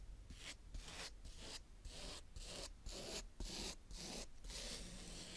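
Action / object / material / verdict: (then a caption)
scrape / kinetic sand scraped with a plastic scoop / sand / none. A green plastic toy scoop rubs and scrapes across a round patch of brown kinetic sand on a tray. It makes soft, gritty, hissing strokes that repeat about twice a second, with bright, high sandy texture over a low rumble and short pauses between each pass.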